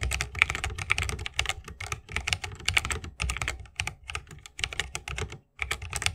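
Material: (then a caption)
Bamboo, plastic. Continuous fingertip typing with both hands on a 60% mechanical keyboard (Holy Panda) with a bamboo case and plastic keycaps. Rapid, bright clicks with a low thump under each keystroke, each dying away at once, with one brief silent gap near the end.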